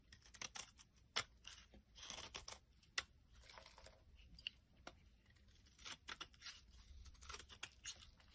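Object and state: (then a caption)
Soap bar being shaved. A utility knife blade shaves a flat, solid light blue soap bar held in the palm into flaky chips. Quiet, crisp, bright scraping and crunching strokes come in uneven bursts, with a few sharp clicks as the blade cuts.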